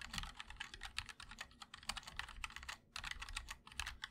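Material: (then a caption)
Plastic, aluminium. Fingertips of both hands type continuously on a 60% MOD-L mechanical keyboard with linear switches, a black aluminum case and white and black ABS keycaps. A rapid stream of short, bright clicks sits over a soft low thock, and each keystroke dies away almost at once. The typing pauses briefly just before the three-second mark, then resumes.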